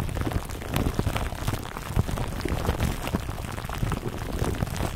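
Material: Plastic film.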